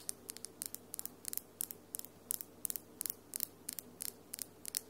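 Long, solid acrylic nails with glitter polish tap and click against each other in quick clusters of two or three. Each click is a sharp, bright tick that stops almost instantly, heard quietly over a faint steady low hum.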